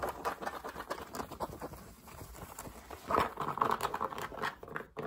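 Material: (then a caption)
Fabric. Fingertips tap and scratch the crown and brim of a dark grey fabric baseball cap worn on the head. Quick, irregular soft taps and scratchy rustles, mostly in the mid range, with brighter, louder scratching in the second half before a brief pause.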